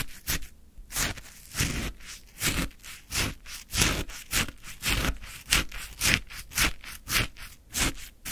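A wooden stick scrapes and lifts icy crystals from a full plastic cup of orange frozen shaved ice. About sixteen separate crunchy, bright scraping bursts come at an uneven pace of roughly two per second, each ending quickly and carrying a dull low thump under the gritty high rasp.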